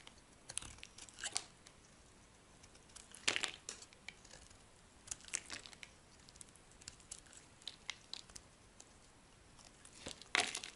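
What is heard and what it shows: A solid yellow Duru bar soap held in the hand is shaved and scraped with a metal utility blade, peeling off dry, crumbly curls. Soft, bright crinkling and scratchy rasps come in short bursts over a quiet background, with a few louder, longer scraping strokes standing out along the way.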